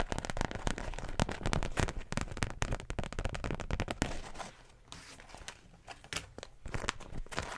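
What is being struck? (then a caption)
Beeswax wrap (wax-coated cotton). A large floral beeswax wrap, a thin sheet of wax-coated cotton, is unfolded, then shaken and crinkled with both hands and long nails. Dense, irregular crackling and crinkling pops come in rapid bursts with a heavy low thump beneath them. The sound is loudest for the first four seconds, drops to softer rustling, then builds again toward the end.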